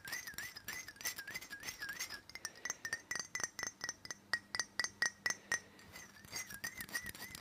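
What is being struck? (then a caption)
Glass perfume bottle. Fingernails tap rapidly on the base of a black glass perfume bottle held steady. Quick, bright clinks ring briefly, with a wavering high glassy tone near 1.9 kHz. In the middle the taps become sharper and more separated, and a faint low hum runs underneath.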